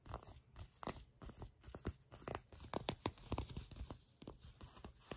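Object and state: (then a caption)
Leather pants. Fingertips and long nails scratch and tap shiny olive-brown leather pants close up, near a seam in the soft material. A quiet, uneven series of soft crinkly scrapes and dull taps is heard, each short and dry with a low, muffled body.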